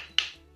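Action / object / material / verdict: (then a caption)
tap / raw filled dough pastries / frozen dough / frozen hard. Raw tuna-filled savory pastries, frozen solid the day after freezing, are tapped once before thawing. They give a single short, sharp, stone-like click with a bright, high-pitched crack that dies away almost instantly, showing they are frozen hard.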